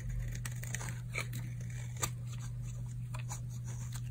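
A solid, dry purple oval bar of soap is held in the palm and shaved with a utility knife blade, curling off flakes. Quick, dry crunching scrapes repeat in a steady run, with bright crackly edges over a constant low hum.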